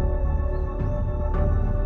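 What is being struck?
Nothing is struck.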